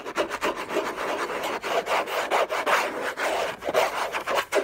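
Fingernails scratch hard and fast across the textured paper surface of a large, flat, hollow orange Hermès cardboard gift box lid. The result is a dry, rasping scrape in rapid, uneven back-and-forth strokes, centered in the midrange with a bright, papery hiss on top and no low end.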